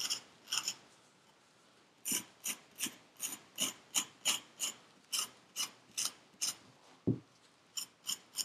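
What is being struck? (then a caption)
Kinetic sand in a paper cup. A thin metal needle tool with a wooden handle scratches and scrapes the surface of purple kinetic sand packed into a small paper cup held in a black-gloved hand. About nineteen short, bright, gritty rasps come in a steady rhythm after a brief quiet pause near the start. One stroke around seven seconds lands with a heavier, duller knock.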